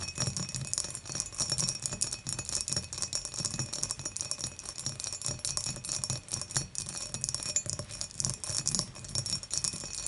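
Long nails rapidly tap and scratch around the dimpled body of an empty glass beer mug lying on its side with its opening facing forward. The result is a dense, continuous stream of bright, crisp clicks and scratchy rustling with a faint, low body resonance underneath.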